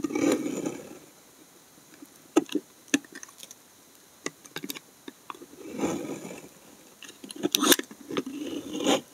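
A steel snap-off blade scrapes thick curls down the face of a narrow remaining piece of solid brown laundry soap held upright. Soft, rasping scraping strokes alternate with sharp, bright ticks and clicks from the blade, separated by brief quiet pauses.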